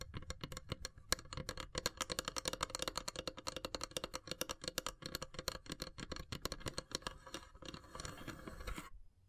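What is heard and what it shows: Long silver nails tap fast across the pierced lid of a long, hollow, carved wooden incense box, producing a dense run of short, dry, bright clicks with a light hollow knock beneath. Near the end the taps blur into a softer, steadier rustle before stopping abruptly.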